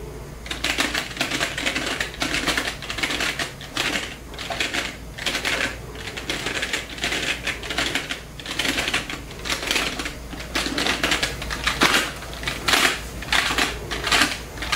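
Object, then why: Plastic membrane computer keyboard. Fingertips press and tap many keys in a typing motion on a full-size black plastic Genius membrane keyboard with a hollow body. Quick, irregular bursts of short, bright plastic clicks and clacks come in clusters, each dying away almost at once over a faint steady low hum.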